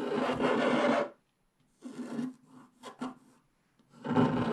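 A wooden stylus scrapes across a flat scratch-art paper page, removing a large area of the black coating on a unicorn picture. Three bursts of dry, rasping scratching are heard, separated by short silences, with a steady low-mid rasp and a bright gritty edge.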